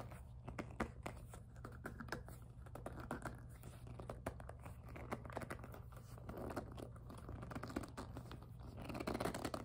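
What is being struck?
PVC plastic handbag.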